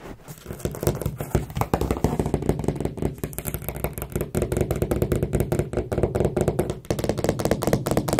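Long acrylic nails and fingertips tap and knock along a solid white painted wooden skirting board fixed to the wall at carpet level, while the other hand rests still on the carpet. A rapid, continuous series of dull, low knocks and clicks plays out, each dying away almost instantly with little brightness.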